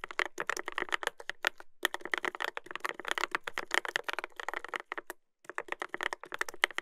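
Fingertips type continuously on a Dolphin 2021 mechanical keyboard with a brass plate and plastic keycaps, producing a fast stream of sharp, bright clacks centered around 2 kHz with very little low end. Each keystroke cuts off almost instantly, and the rapid typing stops briefly just after the five-second mark before resuming.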